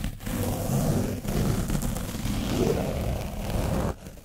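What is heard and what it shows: A foam brush is scraped hard over an orange foam microphone cover coated in dried paint. The result is a dense, low, rumbling scratch with crackly texture that runs almost continuously, dipping briefly twice before cutting off sharply near the end.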